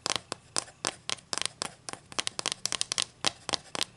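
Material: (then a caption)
Wood. Long green acrylic nails scratch and rub the surface and edge of a solid flat wooden ruler held in the air, which is turned over at the end. The result is a quick, irregular run of dry, bright scratches and clicks with almost no low end and no ring after each stroke.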